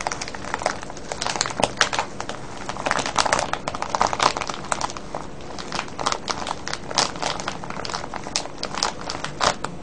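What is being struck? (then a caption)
Plastic cellophane bag of wrapped candies. Hands squeeze and crinkle a full, clear plastic cellophane bag of foil-wrapped candies tied with a ribbon. Dense, bright crackling crinkles come in quick, uneven bursts throughout, over a low steady hum.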